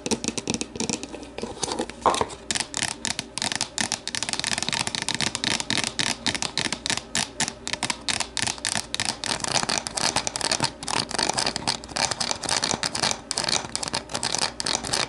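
Long nails tap and scratch an empty, hollow, translucent plastic deli container, held to show its base and then set upright. A dense run of quick, bright, clicky taps with papery scratching runs throughout. Each tap dies away almost instantly.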